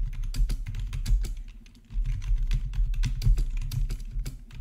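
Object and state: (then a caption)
Plastic membrane keyboard. Fingertips type steadily on the black plastic keys of a backlit RGB membrane keyboard with a hollow body, producing a quick run of short, dry tapping clicks over a low, thuddy body. The typing briefly pauses near the middle, then resumes.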